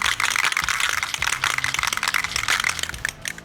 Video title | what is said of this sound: How to Use Rust-Oleum High Heat Coating | you want to make sure you shake the can vigorously for at least 1 minute or until you hear the balls rattling.